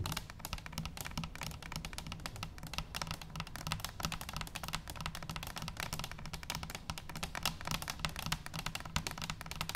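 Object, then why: Stainless steel cylinder canister. A hollow stainless steel cylinder canister lies on its side on a wooden table and is tapped on top with long nails. The result is a fast, steady stream of short, dry, bright clicks with almost no ring, over a soft low hum.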